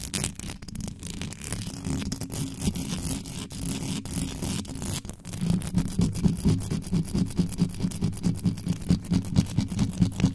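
Both hands scratch fast and aggressively with very long acrylic nails across the bare metal mesh grille of a hand-sized, black, Blue Yeti-style USB condenser microphone with a hollow capsule head and no foam cover. The result is a dense, booming low rumble with a thin, bright scratchy edge. It starts as continuous scraping, then after about five seconds turns into quicker, rhythmic pulsing strokes.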